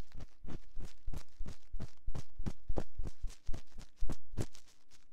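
A metal ear-pick scratches inside the canal of a binaural microphone's silicone ear, making a rapid, irregular run of close, muffled scraping strokes. Each stroke is a deep, booming rub with brief bright edges, and there is a faint steady hum underneath.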